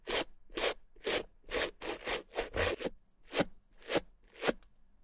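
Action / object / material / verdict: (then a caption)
scrape / small suede handbag brushed with a stiff-bristle brush / suede / none. A stiff-bristled white plastic suede brush with a green handle is stroked over the nap of a small, hollow, dry red suede Gucci bamboo-handle mini handbag. Eleven separate dry, scratchy brushing strokes come at an uneven pace of about two per second. Each is a short, bright rasp with a soft midrange body.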